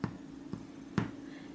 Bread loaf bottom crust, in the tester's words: thump the bottom. Should have a nice hollow sound.